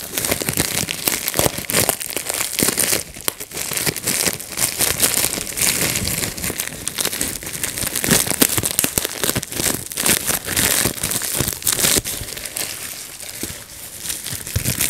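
Fingertips pinch and pop the bubbles of a clear plastic bubble wrap sheet while crinkling it. The result is a dense, steady stream of sharp snaps and bright crackling rustles with no pause across the clip.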